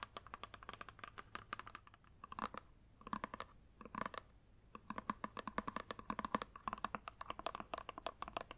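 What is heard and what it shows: Long nails tap rapidly on a flat plastic eyeshadow palette, first on its clear lid and then on its black plastic back. The taps are short, dry clicks centered around 1 kHz with a bright edge, coming in quick bursts separated by brief pauses.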